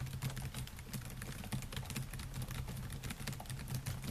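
Fingertips type rapidly on the black plastic keys of a solid silver laptop, producing a dense, continuous stream of short, muted clicks. The sound is dominated by low, thuddy weight with a steady low hum underneath, while only faint brightness tops each quick tap.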